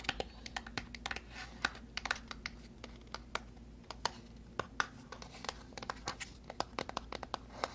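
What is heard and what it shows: A small white cardboard product box is turned in the hands while fingernails tap and scratch across it. The result is a quiet, uneven run of crisp, dry clicks and brief scratchy rustles, each dying away almost instantly. A faint steady low hum sits underneath throughout.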